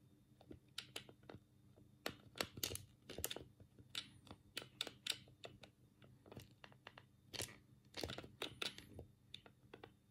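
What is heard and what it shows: A black, hollow plastic Sega control pad is held in both hands while the thumbs rapidly click its D-pad and A, B and C buttons. The result is a quiet, irregular run of sharp, bright plastic clicks and clacks that stop almost instantly, bunched into quick bursts with short pauses between them.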